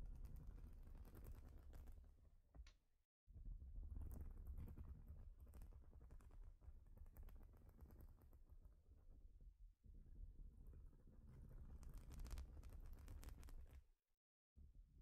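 Long nails tap and scratch across a large, flat plastic Lego-style baseplate covered in studs. The result is a quiet, continuous stream of rapid, uneven clicks and scrapes with a heavy low rumble underneath and bright crackle on top. It cuts to brief silence around 3 seconds and again near 14 seconds.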